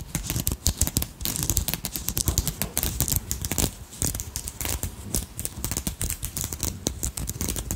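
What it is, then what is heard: Beaded crystal brooch, nails scratching and tapping. A small beaded dragonfly brooch with purple crystals, held in the fingers, as long nails scratch and tap its bead-covered wings. Quick, dense clicks and bright scratchy rustles run throughout, with very little ring after each contact.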